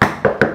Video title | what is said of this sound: কলকাতার বেস্ট সন্ধান ৮ ঘণ্টা চেষ্টা করলেও ভাঙবে না দরজা - দেখতেও কাঠ, হাত দিলেও খাট কিন্তু এ নয় কাঠ | আপনার নক করলে নকিং আওয়াজটাও আপনার কাঠের মতনই আসবে।